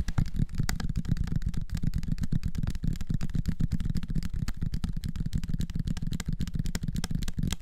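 A small bottle of dark liquid with a red plastic screw cap and a white label is held close and tapped rapidly with fingertips. The result is a dense, continuous run of soft, dull low thuds with almost no high-frequency content and no ring.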